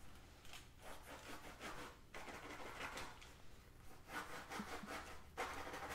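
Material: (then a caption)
Faux leather. A black drawstring pouch of textured faux leather with a Guess logo, soft and flat, is held in one hand and scratched with the fingernails of the other. Quiet, dry rasping strokes come in an irregular run, with bright, airy scratch bursts over a faint low background.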